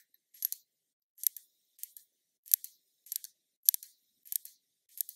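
A small glass foundation bottle with liquid inside, held in the hand, is tapped with long nails. Eight short bursts of quick, bright, high-pitched clicking taps sound at uneven intervals, each dying out almost instantly with no ring.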